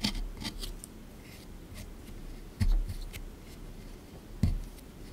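A small pointed scraper tool digs and scrapes at a hard, rectangular plaster excavation block sitting partly dug, with loose crumbs, in a shallow tray that one hand holds steady. Dry, gritty scratching carries bright, brief streaks. Three sharper scrapes stand out, each with a soft low knock against the tray, and short quiet rubbing fills the spaces between them.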